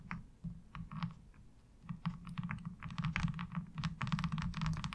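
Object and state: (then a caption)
Plastic laundry board tapped and scratched with nails. Long acrylic nails tap and scratch a thin, hollow-backed, light blue molded plastic laundry washboard with a diamond-textured surface, lying on fabric. Quick, irregular clicky taps and brief scratches come in bursts, with a low hollow hum underneath. The activity grows denser and louder toward the end.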